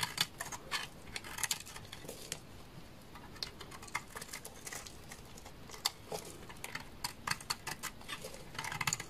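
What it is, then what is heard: Soap bar being shaved. A utility knife blade shaves a hand-sized, solid, dark red translucent soap bar, scraping off curls. The result is a rapid series of short, dry, bright crackling scrapes with quiet pauses between strokes and almost no ring.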